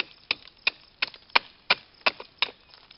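A hatchet chops into a solid, living oak tree trunk with grey furrowed bark, and a hand pries off a bark flap. Seven sharp, bright chops land at a steady pace, each cutting off quickly, with smaller crackling splinters and bark snaps between them.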